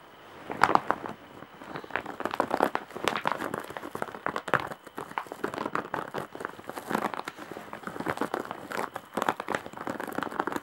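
Long nails scratch across the surface of a large embroidered woven straw/jute bag. The sound is a dense run of dry, crinkling scratches and crackles, mostly in the mid range with little low end. The scratches come in quick bursts that are never quite still for the whole stretch.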